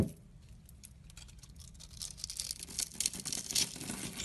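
A metal craft blade scores and carves small cubes off a solid pink embossed soap bar held in the hand. A soft, dry scratching starts quietly and grows into brighter, crisp cutting and scraping with sharp, short clicks. The sound is mostly high-pitched and fades quickly.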